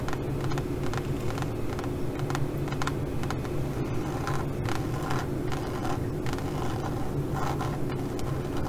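Long glitter nails scratch the surface of a leopard-print pebbled faux leather pouch, making quick, uneven rasping strokes with bright, brushy bursts. A steady low hum runs underneath throughout.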